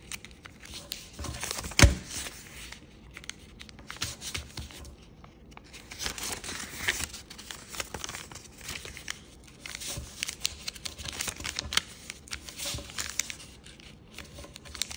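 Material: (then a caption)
Paper. A single thin sheet of kaleidoscope-patterned origami paper is folded, pressed and creased with fingertips on a wooden table. Soft, continuous crinkling and rustling carries bright papery texture, broken by a sharp, louder crease snap near the start. Quieter stretches of folding and pressing follow.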